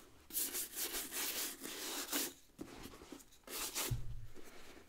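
A wooden bristle brush scrubs the rubber tread sole of a brown leather work boot that has been turned over. It makes repeated bursts of bright, scratchy, tearing-like rubbing in uneven strokes, with brief pauses. A low, muffled thump comes near the end.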